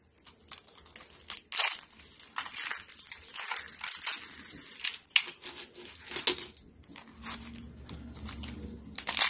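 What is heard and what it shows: A thin stack of dry yellow soap sheets is bent and snapped with fingertips and pink nails over a foil tray of flakes. Bright, dry crackling and crisp crunching snaps come in quick bursts, with sharp breaks standing out, and almost no low end.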